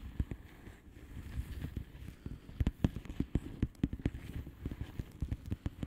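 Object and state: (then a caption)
Plastic bubble wrap envelope tapped with fingernails. Long fingernails of both hands tap on the air-filled bubbles of a flat blue plastic bubble wrap envelope. A quick, uneven run of short, crisp clicks and soft thuds, mostly low in tone, plays over a faint steady hiss. Each tap stops almost instantly.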